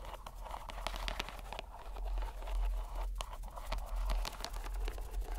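A green rubber stress ball inside a white mesh net is squeezed in the hand so the bubbles bulge out through the netting. The squeezing gives a steady run of soft crinkling, crunching squishes with scattered short, bright snaps over a low rumble.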